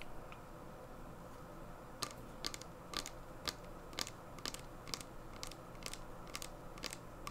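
A small clear plastic hand sanitizer bottle, full of gel, is held in both hands and tapped and scratched with long painted nails on its sides and label. After about two seconds of quiet, soft scratching, bright, dry plastic clicks follow in an irregular series over a steady low background hum.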